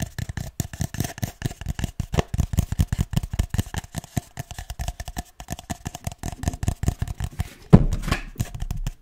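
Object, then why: Cardboard toilet paper tube. An empty, hollow cardboard toilet paper roll tube is held horizontally in both hands just above the microphone while fingertips and nails tap and scratch along its surface. Rapid, dull, hollow taps with a deep, boomy body come in a steady flurry, with a faint soft tone underneath. Near the end, one sharper, louder hit gives way to a brief scratchy rustle before the taps resume.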